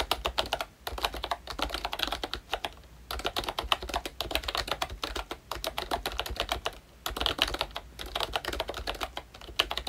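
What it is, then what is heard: Plastic membrane keyboard being typed on. Fingertips type steadily on a ROYCHE Disney Mickey Mouse full-size retro membrane keyboard, with a hollow pink plastic case and round black plastic keycaps. The result is a rapid stream of short, dry, bright plastic clicks with a slightly hollow clack, broken by a few brief pauses.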